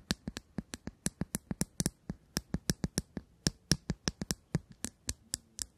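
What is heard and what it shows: A small, shiny bronze/chrome hollow metal cylinder case with a gold band is held in the hands and tapped and scratched with long acrylic nails close to the microphones. About two dozen quick, dry taps ring out in an uneven rhythm, each with a bright metallic click and a short low thump that dies away almost at once.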